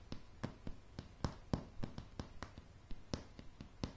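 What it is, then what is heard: Solid wooden floorboards. Long polished nails of both hands tap a light, solid wooden plank floor in an uneven rhythm, producing about seventeen short, dry clicks with a dull low body and almost no ring.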